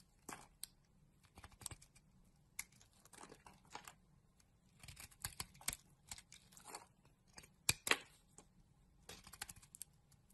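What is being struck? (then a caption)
Bar of soap shaved with a knife blade. A utility knife blade scrapes curls off a solid rectangular magenta bar of soap held in a hand with long nails. The sound is a quiet, irregular series of crisp, dry scraping and crinkling bursts, bright and papery, each dying away almost at once, with faint silence between strokes.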